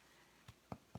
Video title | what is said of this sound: Easy Southern Cornbread! With Danna ▶️Play | you can hear it pop pop pop and that's how you know if it's going to stick or not